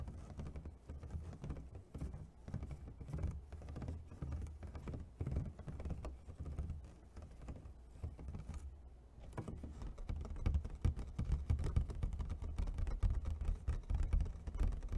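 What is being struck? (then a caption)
Thin clear plastic clamshell food container. A medium, clear, thin plastic clamshell food container, hollow and empty, is held in both hands and tapped quickly with fingertips and nails across its ridged lid. The result is a dense, irregular patter of short, dull, hollow taps with a deep low thump. After a brief lull just before the nine-second mark, the tapping grows louder.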